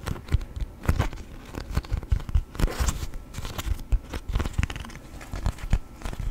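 A thin yellow sheet of beeswax-coated cotton food wrap, folded in half like a book, is opened, folded and rubbed with fingertips. The stiff waxy fabric gives off a rapid run of short, dry crinkles and crackles with a soft low thump under each. Each crinkle dies away almost at once.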